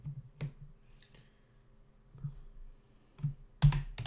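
Both hands tap with their fingertips on the plastic keys of a black plastic membrane computer keyboard with a hollow body, resting on a desk. Irregular, scattered keystrokes give short, dull, low thuds with a faint bright click on top. A quiet stretch in the middle gives way to a louder cluster of taps at the end.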